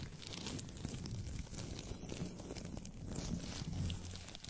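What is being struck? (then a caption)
Thin paper sheet. A thin white paper sheet, held by fingertips with manicured nails in front of a microphone, is flexed and rubbed. It makes a steady, close run of soft crinkling and rustling with a low, muffled body and faint bright crackle, swelling slightly in the second half.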